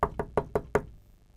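Five quick knocks on a table, standing in for a mallet striking the side of a cube. Each knock is a short, dull thud centered around 400 Hz that dies away almost at once, and the knocks come in an even, steady rhythm.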